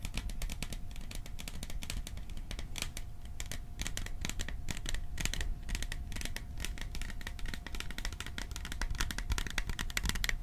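A small metal popcorn tin is tapped and scratched with rapid, dense, bright metallic ticks and scraping over a low rumble. A faint steady tone hums underneath throughout.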